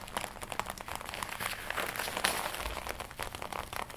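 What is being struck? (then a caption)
Leather jacket. Long nails scratch while fingertips tap and rub the chest of a glossy black leather jacket being worn, producing dense, continuous crinkling. Many short, bright ticks and scrapes blur together over a soft rustle, with little low end.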